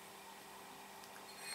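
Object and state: Nothing is struck.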